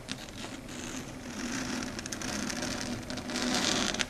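Long red acrylic nails tap and scratch quickly across a flat dark grey chalkboard surface. A steady stream of fast, light clicks mixes with bright, scratchy rasping over a faint low hum. The level swells gently toward the end.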